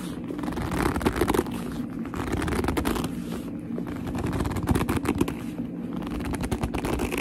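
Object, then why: Leather handbag. Long almond nails and fingertips grip and tap a medium black leather handbag with a strap and a soft, hollow body. The result is a steady, dense run of squeaky leather creaks and short, dull taps over a low, hollow thump, with no speech.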